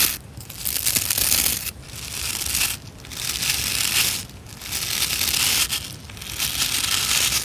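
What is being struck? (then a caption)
Plastic scrub brush with nylon bristles. Long nails and fingertips strum and scratch through the dense, stiff nylon bristles of a hand-sized white plastic scrub brush with a solid body. The result is a bright, crackling, crinkly scratching that rises and falls in repeated sweeping waves, with brief near-silent gaps between strokes.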